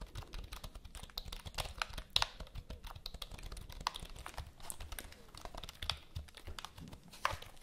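Long nails type and tap quickly on the keys of a full-size black plastic HP computer keyboard held upright. A steady stream of sharp, bright clicks plays over a faint low rumble, with a few louder taps standing out.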